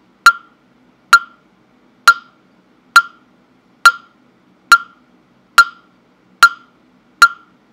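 A hollow carved wooden mokugyo fish block with a slot opening, held by hand near the microphone, is struck with a mallet nine times at an even pace of a little over one knock per second. Each knock is a sharp, dry wooden tock with a clear pitch around 1.4 kHz, a bright click on top, and a very short decay into silence.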